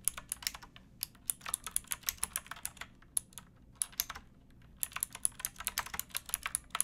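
Both hands type with fingertips and nails on a pink backlit mechanical keyboard with plastic keycaps. Rapid, bright, clicky keystrokes come in quick bursts, with a short pause just past the middle. Each click is sharp and dies away almost at once, with very little low end.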